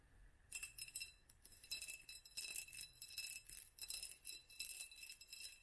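A small hollow glass jar or candle holder with a black band of raised studs is held in both hands and tapped with long nails. After a brief quiet start, bright glassy clinks come in quick, irregular clusters with a clear ringing tone near 2.7 kHz. Each clink dies away almost at once.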